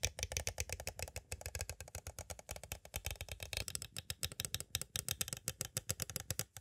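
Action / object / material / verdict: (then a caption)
tap / clear plastic cassette tape case / plastic / none. Two green plastic stick tools tap quickly on the edges of a small, hollow, clear plastic cassette tape case. The result is a steady, rapid run of dry, clicky taps, dozens of them, each with a bright plastic snap and a faint hollow low knock. Every tap stops almost instantly with no ring.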